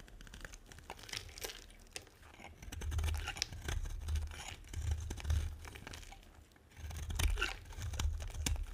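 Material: Soap.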